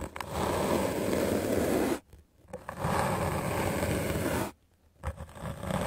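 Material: Melamine foam.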